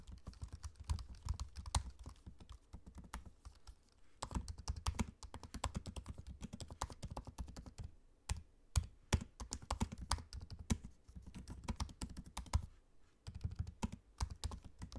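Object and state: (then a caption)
Laptop keyboard, plastic keys on aluminium body. Fingertips type continuously on a MacBook-style laptop keyboard, tapping low-profile plastic keycaps set in a space-grey aluminium body. The keystrokes come as soft, short, dull taps with a mostly low, thumpy body and little brightness, each dying away almost instantly. The rapid stream pauses briefly around the 8-second and 13-second marks.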